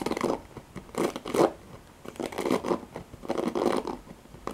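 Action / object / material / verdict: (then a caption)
scrape / plastic paddle hairbrush with nylon bristles / nylon bristles / none. Long fingernails scratch and rake across the dense nylon bristle bed of a hand-sized black cushioned plastic paddle hairbrush with a long plastic handle. The result is irregular bursts of dry, scratchy rustling, strongest in the low-mid range, with a faint bright hiss on top and brief quiet gaps between strokes.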